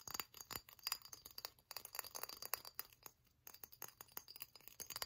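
Long nails tap and scratch the textured body and crown leaves of a hollow, silver-glazed ceramic pineapple ornament with holes, held in the hands. Quick, dense bright clinks and scratchy ticks follow one another with almost no ring, briefly pausing midway before resuming.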